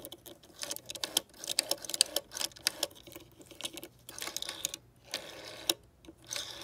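Long decorated nails tap and scratch over the clear plastic rotary dial of a green vintage telephone, across the finger holes, the gold metal rim and the centre card. Quick, dry, bright clicks and ticks come in uneven bursts with soft scratching between them, each tap dying away almost instantly with almost no low end.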